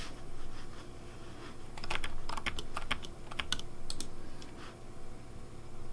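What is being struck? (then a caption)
Plastic mechanical keyboard keys. Fingertips type on a pink Razer Deathadder V3 plastic mechanical keyboard with hollow plastic keycaps. Short, bright clicks and clacks come at an uneven pace over a steady low hum.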